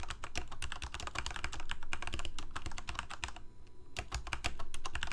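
Fingertips of both hands type rapidly on a full-size Corsair K68 backlit plastic mechanical keyboard with Cherry MX Red switches, producing a fast, uneven stream of short, deep-bodied key taps with bright clicky edges. The typing pauses briefly just before the four-second mark, then resumes, with faint music underneath.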